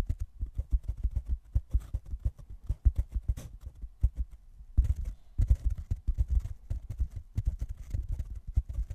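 A rectangular black open-cell foam block, soft and solid, is held in both hands right over a microphone while fingertips scratch and tap its surface. The result is a dense run of muffled, deep thumps and soft scratching with no ring, briefly easing before picking back up. Because the foam is pressed so close to the mic, some handling noise may be mixed in.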